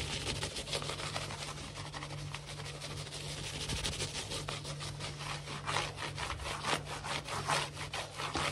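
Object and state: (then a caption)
Wood-look laminate floor being scratched. Fingernails scratch quickly back and forth across a large, solid, glossy wood-look laminate floor. The result is a run of dry, bright rasping strokes over a steady low hum.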